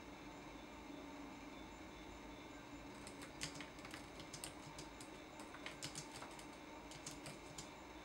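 Fingertips tap the plastic keys of a laptop keyboard in a typing action, with the backlight coming on partway through. After about three seconds of quiet hum, fourteen sharp, bright clicks come in uneven bursts over a steady low hum.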